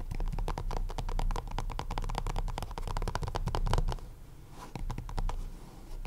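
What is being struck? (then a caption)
Small cardboard deck box. A small, hollow purple printed cardboard deck box is tapped and scratched on its top face with the fingertips and short nails of both hands. Rapid, dense hollow tapping with sharp clicks and scratchy friction runs for about four seconds, then eases into quieter, sparser taps. The sound is dull and low-heavy, with short taps that die away quickly.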